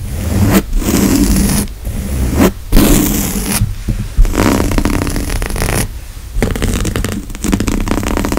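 Fingertips and nails scratch and tap the weave of a grey woven upholstery fabric couch seat, a large padded surface. The result is dense, fast, rough scratching and rustling, mostly low and muffled with a faint bright edge, coming in bursts separated by short quiet pauses.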